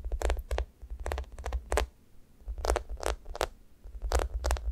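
Long nails scratch across the sticky top of a thick, solid, sticky foam squishy toast. Repeated short bursts of tacky, crackling scrapes come with a bright peeling texture over a steady low rumble, separated by brief quieter gaps.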